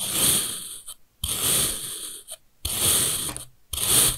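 A steel kitchen knife cuts thin slices from a long bar of packed red kinetic sand, beside beige pieces that have already been sliced. Each repeated cut gives a bright, hissing, grainy rasp, separated by short silences.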